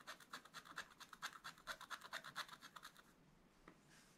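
A wooden stylus scratches lines into a black-coated scratch-art paper page while the other hand holds the book. About 25 quick, dry, bright scraping strokes come in a steady rhythm for roughly three seconds. Then the scratching stops, leaving faint soft rustle and one light scrape near the end.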